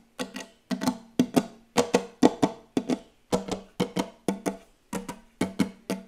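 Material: Wood.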